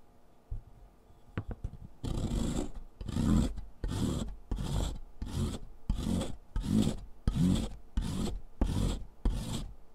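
A solid dark gray chalk stick is rubbed by hand across the perforated metal surface of a purple foot file resting on cardboard, with dark dust falling. After a few faint clicks, a steady series of rasping, scratchy back-and-forth strokes follows, each a dense burst heavy in low rumble with bright grit on top.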